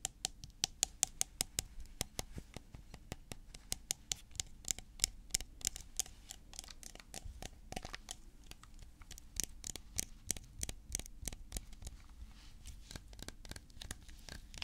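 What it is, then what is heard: Plastic coconut oil tub. A medium-sized, apparently full white plastic coconut cooking oil tub with a blue plastic lid is held in the hand and tapped and scratched with fingertips and nails. Quick, dry, bright clicks come in steady bursts, with soft scratching between them. Each tap stops instantly, with no ring, and the whole clip stays quiet.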